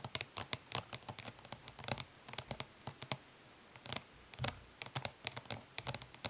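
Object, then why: Flat plastic eyeshadow palette. Long nails tap quickly and lightly scratch the lid of a flat, hollow plastic eyeshadow palette resting on cloth. The result is a rapid, irregular series of short, bright plastic clicks with soft scratchy textures, very little ring, and a few brief pauses between bursts.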